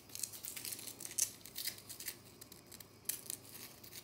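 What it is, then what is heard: Compressed powder bath bomb. Long nails scratch and flick at a small, solid, round pink-white compressed powder bath bomb, breaking off crumbs that fall away. The sound is a quiet string of dry, bright, gritty scratching and crumbling bursts with almost no low end. Each burst dies away almost instantly.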